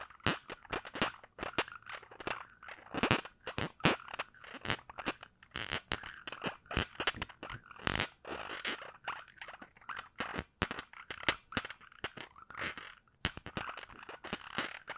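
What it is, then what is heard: Glass perfume bottle cap being scratched. Fingers work at the round cap of a small glass perfume bottle held in one hand, twisting or rubbing and scratching it. The result is a dense, quiet run of quick, dry crunching and scraping clicks with a bright edge and almost no ring.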